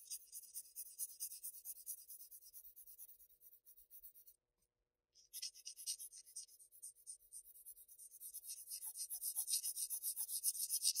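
A graphite pencil rubs along a shaded column on a flat sheet of Bristol paper, making steady, quiet, bright scratchy strokes. The strokes pause for about a second near the middle, then resume and grow gradually louder toward the end.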